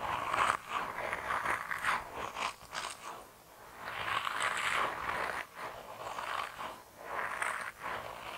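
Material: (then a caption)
Rubber. A hand-sized grey soft rubber mouse toy with a tail, solid and flexible, is squished and rubbed with thumbs and fingertips. The result is a run of squeaky, rubbery squelches and scrapes in bursts, with a sharp bright squeak near the start and quieter rubbing between.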